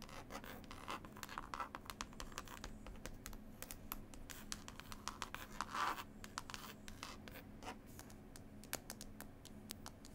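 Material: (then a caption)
Linen cloth. Long pointed acrylic nails tap and scratch quickly across the cover of a green linen-cloth hardcover CD case with an illustrated label. The result is a dense run of quiet, dry, scratchy taps with a bright edge, each fading almost instantly, over a faint steady low hum.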